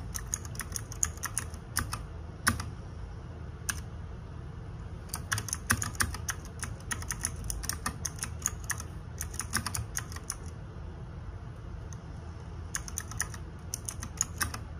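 Fingertips and nails type rapidly on a small RGB-backlit 60% mechanical keyboard with plastic keycaps. Quick bursts of sharp, bright clicky keystrokes are broken by short pauses, over a steady low hum.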